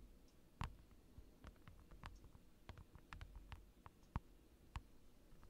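Fingers tap on a large rectangular acrylic sheet lying on a desk, with a microphone pointed down at it. An irregular series of short, dry, clicky taps is heard, each with a soft low thump and a brief bright edge that dies away almost instantly, over a quiet background.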